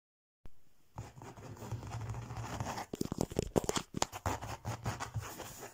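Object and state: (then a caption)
Faux leather cover. Fingertips and nails work over a flat, textured faux leather cover printed with an Eiffel Tower design, lying on a table. A steady, dry scratching gives way around the middle to a run of quick, sharp taps, then settles back into softer scratching.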